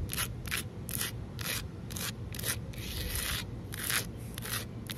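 Both hands with long nails scratch and rub the rough surface of solid, flat outdoor concrete pavement. It makes a series of bright, hissing scratch strokes that start and stop in quick succession over a steady low rumble.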